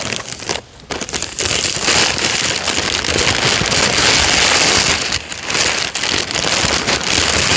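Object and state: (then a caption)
Tissue paper crinkling. Thin white wrapping tissue paper lining an open cardboard shoe box is rubbed, pressed flat and crinkled by fingertips and the palm of the hand. It makes a dense, bright, crackling rustle that runs almost continuously. Brief quieter dips come near the start and around the five-second mark.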